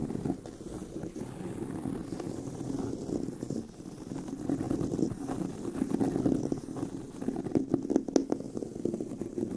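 Both hands scratch the tan pebbled leather of a handbag near its corner seam, over the hollow bag body. It makes a steady, dense, low-mid rustling scratch with little high end. A few sharper, brighter scrapes stand out near the end.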